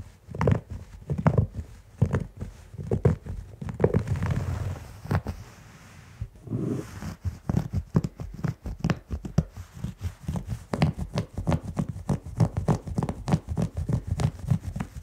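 Fingertips and short nails scratch and rub a plush, thick beige synthetic pile carpet on the floor, the hand sliding across the pile. It makes a steady run of quick, muffled, low scratchy strokes at an uneven pace, with a longer softer rub and a brief lull around the fifth and sixth seconds before the fast scratching resumes.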